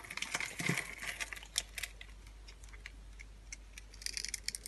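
A utility knife blade scrapes and cuts away the scored surface of a solid, palm-sized pink-and-white striped dry soap bar held in the hand, crunching off small cubes. The result is a dense run of dry, bright crackles and crunches, loudest at the start and again near the end, with quieter scraping in between.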